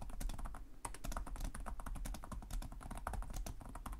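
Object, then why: Plastic laptop keyboard. Fingertips from both hands type continuously on the plastic chiclet keys of a black laptop keyboard, producing a rapid, dense stream of soft, short clicks and taps. A steady low hum sits underneath the typing throughout.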